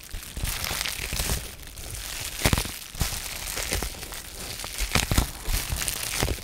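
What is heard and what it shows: A sheet of blue-tinted polyethylene bubble wrap with small air-filled bubbles is held in both hands while fingertips and short painted nails crinkle and flex it. A steady, dense plastic crinkling runs throughout, with bright, sharp crackles standing out near the middle and again toward the end over a low handling rumble.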